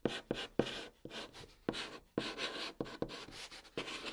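A white chalk stick held in the fingertips writes Korean letters on the large, flat, hollow top of a brown cardboard box. A series of short, dry scratching strokes starts sharply and stays bright and gritty, with a faint hollow body around 480 Hz. Each stroke dies away almost at once between bursts.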